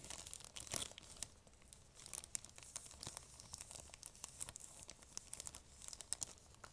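An empty, thin, clear plastic bag is held close and crinkled and scrunched by long fingernails. The result is a steady run of quiet, sharp, bright crackles and rustles with very little low end, rising into a few denser bursts.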